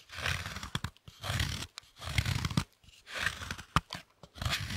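A knife scrapes down the face of a large, thick, solid dark chocolate slab held upright, carving off shavings. Bursts of gritty, crunchy scraping alternate with short pauses, marked by a few sharp clicks.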